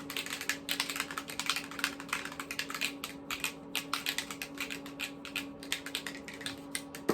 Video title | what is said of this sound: Drugstore Haul and Try On | you must have to shake it because you can hear the little balls in there